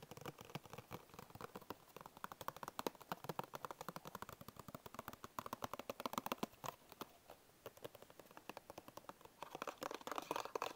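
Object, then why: Small paperboard biscuit box. Fingertips and short nails tap and scratch the side and edges of a small, hollow, printed paperboard Bisco biscuit box. Rapid, irregular, dry taps with a hollow midrange tone follow one another throughout, mixed with light scratchy rustling. A denser, brighter scratching passage comes near the end.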